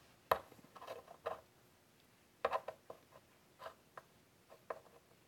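A hand draws with a white chalk stick on a large, flat black chalkboard in a wooden frame, rubbing and scratching it along the surface. Short, dry, scratchy strokes come in irregular bursts, centered in the midrange around 1 kHz with faint bright edges. Each stroke stops quickly against quiet pauses.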